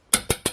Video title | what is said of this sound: (Sold) NEW MODEL! 2019 Jayco Eagle HT 262RBOK Travel Trailer | You can hear that's real metal.